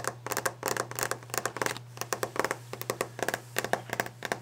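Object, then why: Varnished wooden desk top. Long nails and fingertips quickly tap and scratch on a solid varnished wooden desk top. The result is a rapid, uneven run of short, dry, clicky taps with bright scratchy edges and almost no ring, over a faint steady low hum.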